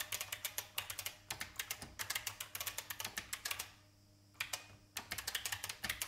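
Fingertips type on a vintage IBM mechanical keyboard with plastic keys, making a rapid run of short, bright, clicky keystrokes with almost no ring. The typing stops briefly near the middle, leaving only a faint low hum, then resumes at the same quick pace.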